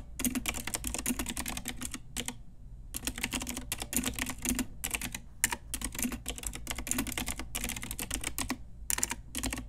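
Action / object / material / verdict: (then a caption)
tap / plastic mechanical keyboard with round keycaps / plastic / none. A full-size pink Ajazz mechanical keyboard, with round plastic typewriter-style keycaps on a hollow plastic case, is typed on with long nails and fingertips. Bursts of rapid, bright clicky key taps carry a low hollow thock, separated by brief pauses.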